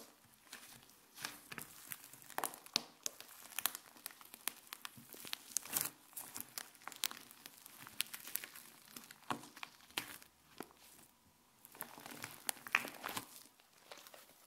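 A mound of fluffy white slime is squeezed between the fingers and pulled up into stretching strands above a countertop. Soft squishing mixes with a dense run of quick, bright crinkly crackles and tearing snaps, rising and falling in bursts at a quiet level.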